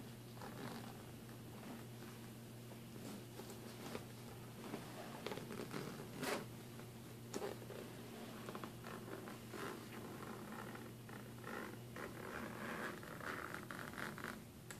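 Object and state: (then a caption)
Suitcase zipper being pulled. Fingers pull the metal zipper pulls along the front pocket seam of a large, hollow black nylon-fabric suitcase. The result is a quiet, sliding, rubbing zip with scattered brighter clicks and scratches over a steady low hum.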